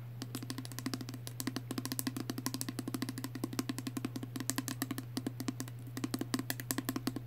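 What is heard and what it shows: A small pink plastic Body Fantasies perfume spray bottle with liquid inside is held close and rapidly tapped with fingernails. The taps come as a fast, continuous run of short, dry clicks with a hollow plastic tone, over a steady low hum.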